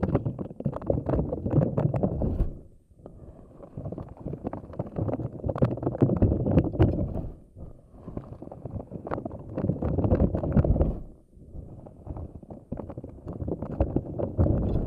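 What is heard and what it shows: A fist-sized pink soft silicone puffer ball covered in long, thin, flexible spikes is held in both hands while long acrylic nails pluck and squish the spikes and the palms rub them. The result is dense, low, rubbery squishing and crackling, coming in busy stretches with brief quieter dips in between.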